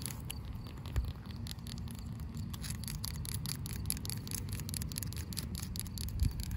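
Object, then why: Asphalt pavement. Long pink acrylic nails scratch across solid, cracked asphalt pavement, making a rapid run of short, dry, bright scraping strokes. A steady low rumble sits underneath, with a couple of slightly louder knocks along the way.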